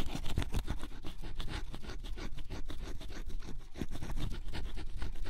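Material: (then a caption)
Cardboard. A wooden stylus scratches the black coating off cardboard scratch-off jigsaw puzzle pieces, revealing yellow and blue underneath. Close-up, continuous dry scraping strokes come in quick bursts, with the energy weighted toward the low end and a brighter rasp on top.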